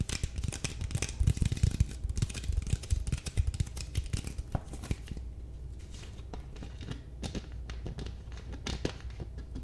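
A small clear plastic drinking-water bottle with a white cap and blue label, hollow and partly full of water, is held in one hand close to the mic. Long nails and fingertips tap and crinkle it, making dense, rapid clicks and crackly crinkling with a low rumble beneath. The sound is busiest in the first five seconds, then thins to sparser taps.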